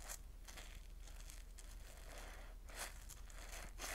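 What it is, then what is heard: Soapy cellulose sponge. A palm-sized, porous yellow cellulose sponge, soaked and full of soap foam, is held over a steel bowl of suds and squeezed and rubbed with fingertips and palms. Wet, crackling foam sounds and bright crinkling bursts ride over a steady low hum, with several stronger squeezes standing out toward the end.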